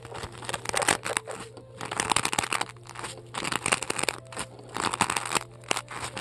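Long decorated acrylic nails dig into and scratch the top of a large, solid white polystyrene foam ball. The result is a rapid run of dry, bright crunching and squeaky scraping bursts with no ring, over a faint steady low hum.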